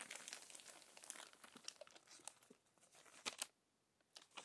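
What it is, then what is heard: Glossy paper magazine pages. Fingertips and long nails turn and smooth the crinkled pages of an open glossy paper magazine. Quiet, bright crinkling and crackling comes in a dense run of short, sharp ticks, with two louder snaps. Then comes a brief near-silent pause before the rustling picks up again.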